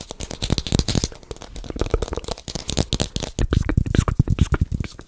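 A small, solid whole red apple is held in the hands close to a microphone while fingertips tap and scratch its skin. The result is a dense run of short, dry, crisp taps and scratches with little ring, heavy in low-end thump with some bright, brushy scratching on top.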